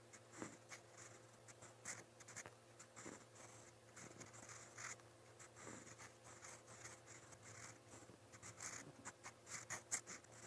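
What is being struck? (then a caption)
Steel fountain pen nib on a paper notebook page. A steel fountain pen nib, held in the fingers, scratches across a lined white paper notebook page lying flat on a pad while writing Korean letters in brown ink. Quiet, bright, papery scratches come in short, quick strokes and bursts over a faint, steady low hum.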